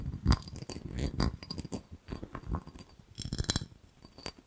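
A small, empty, hollow, clear ribbed glass jar is turned in the hands and tapped with fingernails on its side and base. The result is a quiet, irregular series of soft, dull taps with bright clicky edges, each fading almost at once with no lingering ring.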